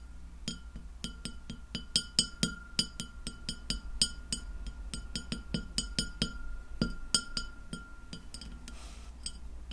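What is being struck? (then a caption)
Glass plate tapped with fingernails. Long fingernails of both hands tap a white glass plate lying flat, producing a quick, irregular series of short, bright, ringing clinks. A steady low hum runs underneath throughout.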